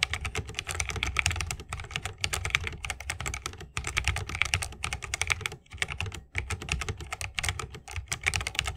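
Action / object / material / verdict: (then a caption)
tap / mechanical keyboard with plastic keycaps in a bamboo case / plastic, bamboo / none. A 60% mechanical keyboard with plastic keycaps and tactile switches, set in a bamboo wooden case, is typed on continuously with the fingertips of both hands. Rapid, bright, clacky keystrokes with a low thump run in bursts, separated by a few brief pauses.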